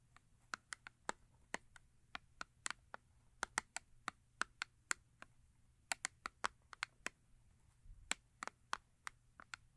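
Long acrylic nails tap the flat face of a small cardboard Yardley soap box, full with a soap bar. The result is an uneven run of about 29 quiet, dry, clicky taps, each with a bright edge and a hollow mid-range knock that dies almost instantly, over a faint, steady low hum.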